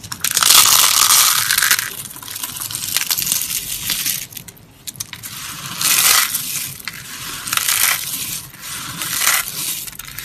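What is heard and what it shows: A pile of brittle green and pink dry soap shards on a grey cloth is crushed and rubbed between both hands and fingertips. Bright, dry crunching and crackling comes in louder bursts, with quieter rustling grinding in between.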